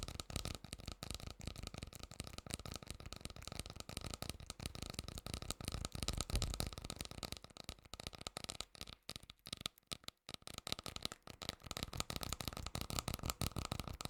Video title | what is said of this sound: ASMR with noise cancelling headphones 😴 Tingly, Soothing Sounds for relaxation | the tapping sound can reverberate on the inside make a very nice tapping sound